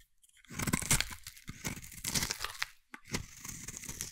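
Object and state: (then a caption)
Bar soap being carved. A metal blade scrapes a solid, hand-sized green bar of soap, giving dry, crunchy shaving sounds with a bright, papery crackle. The scrapes come in uneven bursts, with a brief silence just before the final stroke.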